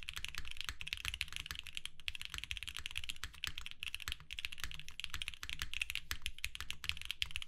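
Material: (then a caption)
Plastic. Both hands type steadily with their fingertips on a compact 60% mechanical keyboard with lavender, purple and white plastic keycaps, a hollow white case, an FR4 plate and filmed Alpaca switches, resting on a desk mat. A fast, continuous run of short, dry clacks combines a bright upper click near 3.3 kHz with a deep, hollow thock underneath. Each keystroke dies away almost instantly.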